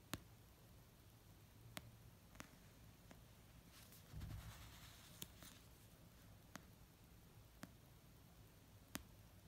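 An orange paperback novel of solid paper, resting on a soft blanket, is tapped slowly with fingertips and painted nails. Eight short, dry, sharp ticks stand out with long pauses between them over a quiet, low background hum. A softer, muffled rustling swell comes midway through.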